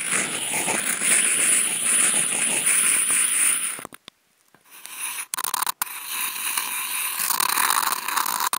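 Two wooden toothpicks, each clipped to a contact mic and held in the fingers, scratch across a large flattened brown corrugated cardboard box lying flat. The result is dense, bright, crackly scraping with a faint high whine behind it. The scratching stops briefly into near silence before resuming in rough, gritty strokes with a couple of short breaks.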